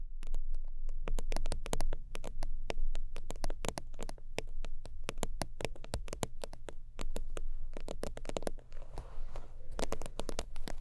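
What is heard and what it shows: Long acrylic nails rapidly tap and scratch the soft top of an iridescent holographic faux-leather zip wallet resting on a fur blanket. The result is a dense stream of sharp, bright clicks over a steady low hum, with a softer stretch of scratching near the end.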